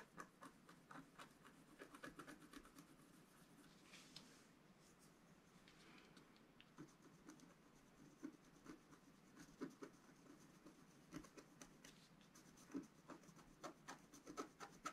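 A wooden stylus scratches small details into the black coating of a flat scratch-art card. The quiet, fine scratching comes as a steady run of short, dry ticks and scrapes. A few longer, softer rasping strokes are heard near the four- and six-second marks.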